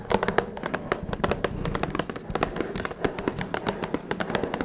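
Long red nails tap rapidly on top of a small, hollow, blue Twinings cardboard tea box. The result is a quick, uneven run of short, dry clicks with a hollow, papery tone around 470 Hz, and each tap dies away almost at once.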